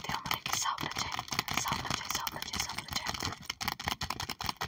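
Both hands tap quickly with long acrylic nails on the plastic sleeve pages of an open sticker album. The result is a dense, continuous run of crisp, bright clicking taps with a faint crinkly rattle, each tap dying away almost at once.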